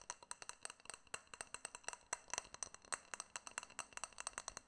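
Fingernails tap and clink on a small, hollow, clear glass jar with a silver metal lid, held close to the mic. About 32 quick, quiet, bright clicks come in an uneven run. Each dies away almost instantly, with barely any low end.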